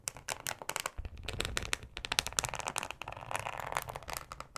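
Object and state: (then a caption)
Plastic cutting board scratched with nails. Long acrylic nails scratch a thin, flexible yellow plastic cutting mat with a ribbed texture. The result is a dense run of quick, bright, dry scrapes and ticks that stop almost instantly, with a soft low rumble underneath from about one second on.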